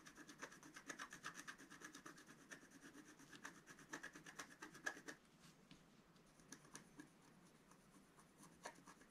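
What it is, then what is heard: Scratch art paper sheet. A wooden stylus scratches fine lines into the black coating of a flat, thin scratch art sheet while the other hand holds the sheet down. Quick, uneven dry scratches with a bright hiss and a faint thin tone near 1.7 kHz come in a dense run for the first five seconds. The strokes then turn quieter and sparser, with a few sharper scratches near the end.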